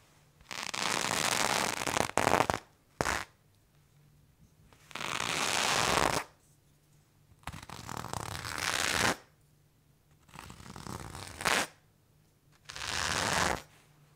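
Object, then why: Cotton denim fabric. A serrated knife blade is scraped repeatedly down worn blue cotton denim jeans on a thigh. Each stroke makes a broad, rough rasping scratch with a bright, hissy edge, lasting a second or two, separated by quiet pauses with a faint low hum underneath.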